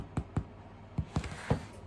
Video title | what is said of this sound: Best Sandwich Bread Recipe EVER! Everyday Sandwich Loaf #costoflivingcrisis | turn it upside down and just tap the bottom of the bread. If it's hollow, if it sounds hollow, it's good to go.